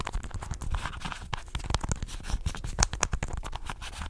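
Fingernails scratch and rub quickly over a small, hollow red and white plastic contact lens case with twin red caps, held above the microphone. The result is a dense, fast run of crackly scrapes and sharp, bright plastic ticks over a low thumping rumble from the close handling.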